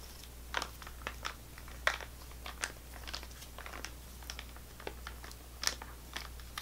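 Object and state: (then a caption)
Plastic foil snack pouch. Fingernails tap a full-looking GoGo Squeez laminated plastic foil apple sauce pouch and its plastic spout cap. The result is a series of sharp, crinkly, bright clicks at an uneven pace, with a faint steady low hum underneath.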